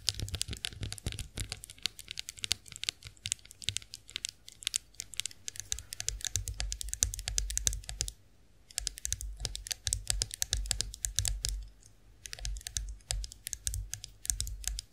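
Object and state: Chrome face roller tapped with nails.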